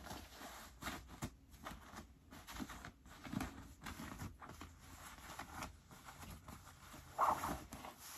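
Fingertips dig into the right front pocket of medium-wash cotton denim jeans and rub the denim, with the left pocket lining already pulled out. The result is quiet, scratchy fabric rustling with soft bursts of friction, rising to a brief brighter scrape near the end.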